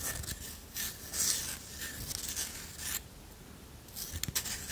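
A flat, solid, round wooden disc coaster held in one hand is tapped and scratched with long nails. Bright, dry scratching strokes come in bursts with short quieter gaps, and a few sharp taps stand out near the end.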